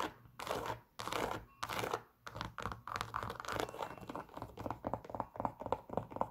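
A white Adidas Superstar sneaker, hollow and empty, with a leather upper, black stripes and a rubber shell toe, is held in the hand and scratched and tapped with long pink nails. Broad, rasping scratch strokes come first, then a quicker, uneven run of short, dry taps mixed with scratching. Each tap is crisp with almost no ring.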